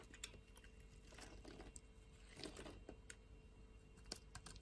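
A box-cutter blade scrapes and slices flakes off the surface of a solid purple bar of soap held in the hand. Soft, dry scraping runs under a series of short, crisp clicks and ticks with a bright, high edge, all at a low, close level.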